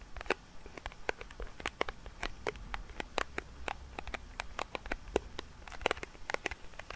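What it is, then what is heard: Metal tin lid with plastic window. A round silver metal tin lid with a clear plastic window insert, held in both hands above the microphone, is tapped and rubbed along its rim and window by fingertips. Quick, dry, bright clicks and taps land in an irregular patter over a soft, low rumble, each one dying away almost instantly.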